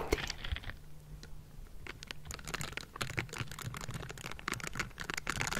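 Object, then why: Metal mesh microphone grille. Bristled palms and fingers of pink silicone gloves scrape and tap the hollow metal mesh grille of a Blue Yeti microphone. A dense run of quick, bright scratching clicks and taps plays over a low rumble, each one dying away almost at once.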